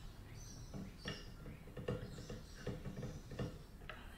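A thin pen-like tool and fingernails scratch and tap the closed top lid and fallboard area of a Kawai upright piano with a glossy dark lacquered wood finish and a large hollow body. Soft, quiet scratching runs throughout, broken by a few sharp taps that thud low and die away quickly.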